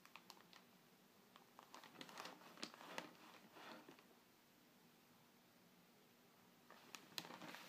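Fingernails and fingertips scratch and trace over a flat, glossy paper furniture flyer opened to a bedroom page and lying on a table. Soft, bright papery scratching and crinkling comes with quick, sharp ticks. It fades to near silence for a couple of seconds, then picks up again in a short burst of louder scrapes and taps.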